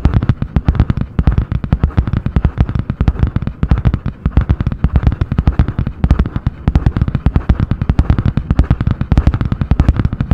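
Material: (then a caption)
Cardboard. Long painted nails tap and scratch fast on a medium spiral-bound notebook with a butterfly-print hard cardboard cover, held in both hands. The result is a steady, rapid stream of short, dull, low thumps with crisp clicky edges that die away almost instantly.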